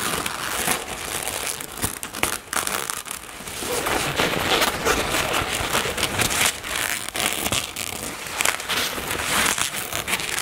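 Long natural nails tap and scratch across a soft, apparently filled black satin cosmetic bag with floral embroidery resting on a table. The result is a dense, continuous crinkling and scratchy hiss, bright in the high frequencies, with quick soft taps scattered throughout at a fairly steady level.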